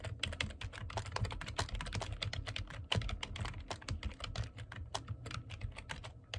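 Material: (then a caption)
Plastic. Fingertips type continuously on the keys of a black plastic computer keyboard. The result is a rapid, steady stream of short, bright clicks over a soft low thump, with each keystroke dying away almost at once.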